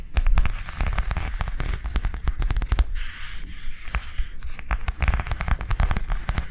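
Long nails tap quickly on the cover and spine of a small white plastic cardholder book lying on a table. The taps are dry and clicky with a dull, low thump beneath them and almost no ring. They come in a dense, steady run, with a short scratchy rustle partway through.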